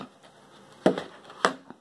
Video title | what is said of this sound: OfficeTec Keyboard and Mouse Full Review | I'm shaking it and we're not getting too much of a rattling noise, and I'm shaking it pretty good.